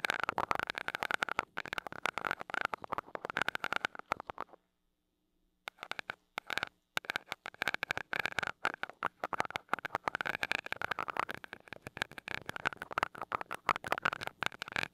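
A glass rod taps rapidly on the small gold metal mesh grille of a mini microphone, making dense, bright, crackly clicks centred around 1.1 kHz. The tapping stops for about a second near the middle, leaving only a faint low hum, then resumes at the same quick pace until the end.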